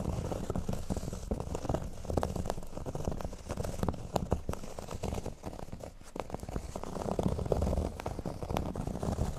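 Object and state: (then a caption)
Cork board being scratched. Fingernails scratch the surface of a flat, thin, solid cork board lying on a table. The result is a steady, dense run of dry, crackly scraping strokes, heavy in low rumble with little high-end brightness. The scratching dips slightly softer midway before picking back up.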